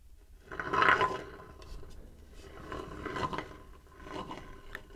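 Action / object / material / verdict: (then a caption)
scrape / light wooden bowl / wood / none. Fingertips rub and scratch the outer wall of a shallow, empty, light-wood bowl about 20 cm across, held horizontally. Soft, dry scraping comes in swelling bursts, loudest near the start and returning twice more. It has a faint steady midrange tone and little low end.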